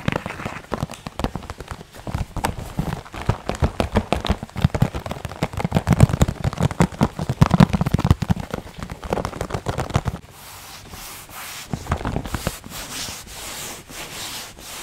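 A closed, medium rectangular printed cardboard box of Chocolate Pie snacks is held in the hands and rubbed and scratched across its surface with fingertips and nails. For about ten seconds there is a dense run of quick, dry, low-heavy scratching ticks. It then shifts to a quieter, softer rubbing hiss with a few brief louder bursts.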